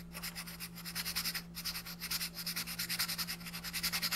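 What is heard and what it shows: A green colored pencil shades a thin printed paper coloring sheet lying flat on a wooden desk, using repeated back-and-forth rubbing strokes. About 28 quick, evenly spaced strokes make a bright, high, papery scratching, with a faint steady low hum underneath.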